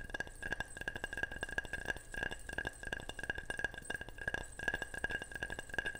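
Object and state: Ceramic object tapped.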